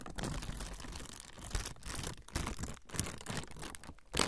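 A thin, flexible, semi-translucent frosted plastic sheet is bent and crinkled with fingertips. It makes a continuous soft crinkling and rustling with brief dips between handlings. Occasional sharper cracks stand out, and a louder crackle comes at the end.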